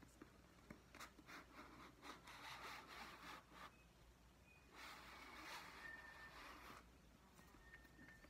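Long dark-painted nails scratch and rub the glossy card back cover of a solid, medium-sized paperback "Alice" book held in the hands. The result is soft, dry scratching and rubbing in uneven, rhythmic bursts with a bright, papery hiss, plus a few faint thin squeaks against a quiet background.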